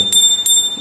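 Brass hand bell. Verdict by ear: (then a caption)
Good. A brass temple hand bell with an open interior and a freely swinging clapper is rung, giving two bright strikes around 3.6 kHz that ring on clearly between hits. The bell is in good working order and sounds right, unlike one whose clapper sticks.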